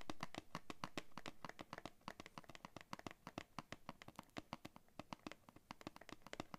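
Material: Cardboard.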